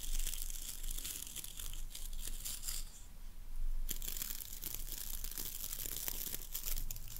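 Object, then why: Boar bristle brush with wooden handle. Long nails rake and scratch across the boar bristles of a wooden-handled hairbrush, producing a dense, bright, crackling rustle like tearing or crinkling. The scratching runs almost continuously, dips briefly quieter just after the three-second mark, then resumes at full strength over a faint low rumble.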